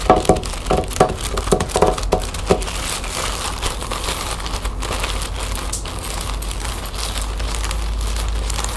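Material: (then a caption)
Plastic. Long painted fingernails scratch and rub a folded lime-green plastic shopping bag lying flat on a wooden table. The first few seconds bring sharp, crinkly taps and crackles with a faint ringing tone. These then give way to a steady, bright, hissing rub of nails dragging across the plastic, with some soft crinkling to the end.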